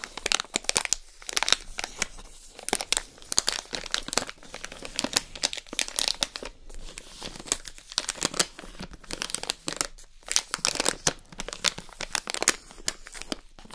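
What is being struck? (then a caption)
Plastic bag of fudge pieces. A full, clear plastic bag of salted caramel fudge pieces with a paper header card is held in the hands, crinkled and tapped with long nails. Bright, dense crackling and crinkling comes in continuous bursts, with quick sharp taps throughout.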